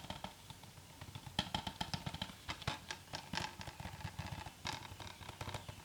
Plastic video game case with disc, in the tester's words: Shakes a little bit and rattles with the game in there